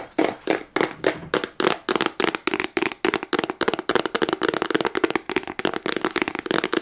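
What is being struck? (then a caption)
Small hard plastic case. A small, hollow black hard plastic case with a price sticker is tapped and scratched fast with long nails. The result is a rapid, uneven run of dry, clicky taps with bright scratching noise and a hollow mid-range body. Each hit dies away almost instantly.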